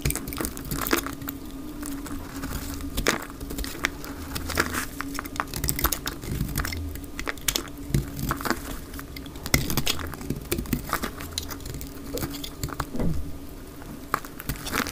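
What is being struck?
Bar of soap cut with a knife blade.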